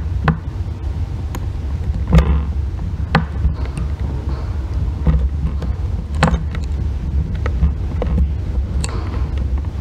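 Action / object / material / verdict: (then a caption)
scrape / bar soap scraped with a thin metal tool / soap / none. A solid green bar soap resting on a white box is scratched and shaved with a thin metal tool held in the fingers. Short, sharp scraping clicks sound over a constant low hum, with bursts of bright scratching between them.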